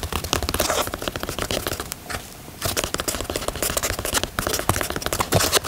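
Fingernails scratch and tap the knit upper and heel tab of a grey knit Yeezy 350 sneaker, making a dense, bright, crinkly scratching with quick soft taps. The sound eases to a quiet hush for about half a second in the middle, then resumes just as busy until the end.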